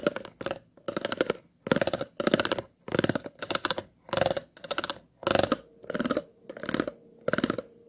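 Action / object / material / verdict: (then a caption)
scrape / plastic water bottle / plastic / none. The tip of a pair of scissors scratches the grooves of an empty, hollow, clear plastic water bottle in repeated short bursts. Each burst is a fast, ridged rasp with a hollow midrange ring and a bright, crackly top, separated by brief silences.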